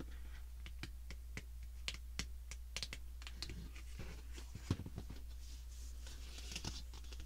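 Long glitter-polished nails tap and scratch across the edges and faces of a stack of small black printed cardboard lip kit boxes from the Fall 2017 collection, resting on a dark mat. The hollow boxes give a quick series of dry, bright clicks and brief scratches that stop almost at once. A steady low hum runs underneath.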